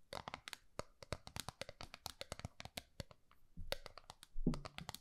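A small, round, gold metal tin held in both hands has its flat face tapped and scratched by long nails. The result is a quick, uneven run of dozens of sharp, bright clicks with short scratchy rustles between them. A couple of duller, low thumps come near the end.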